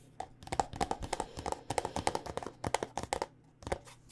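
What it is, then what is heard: Plastic lotion squeeze tube. Long nails tap a white plastic body butter squeeze tube filled with lotion, producing a quick, uneven run of sharp clicking taps. Each tap is short and bright with a faint hollow tone around 790 Hz, over a low, steady background hum.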